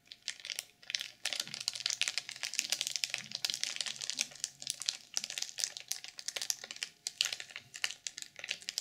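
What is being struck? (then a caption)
Sequin-covered journal wrapped in plastic film. A black sequin journal sealed in clear plastic film is tapped and scratched by long purple nails. The result is a dense stream of crisp, bright crinkling and clicking with quick scratches. The sound is almost entirely high-pitched, with no low end.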